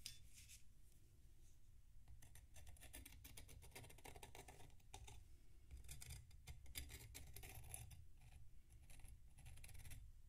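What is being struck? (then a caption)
Packed sand block scraped with a metal knife. A metal knife scrapes the crunchy surface of a large, solid block of packed sand resting on a plate while the other hand steadies it. Dense bursts of bright, gritty crackling and scratching come in quick clusters over a steady low rumble. The scraping runs continuously at a soft, even level throughout.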